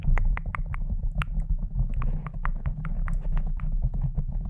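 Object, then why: Foam microphone windscreen scratched with fingernails. Long decorated nails scratch and rub a pink foam microphone windscreen with both hands. The result is a steady low, muffled rumble broken by quick, bright scratchy ticks.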